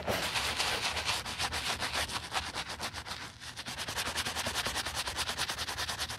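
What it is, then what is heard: Leather sneaker being brushed. A foamy wooden-handled bristle brush scrubs the heel of a white leather sneaker with a green tab, resting on a towel. Quick, steady back-and-forth brushing strokes make a bright, wet, hissing scrub that repeats about two or three times per second. There is a brief lull in the middle before the strokes pick up again evenly.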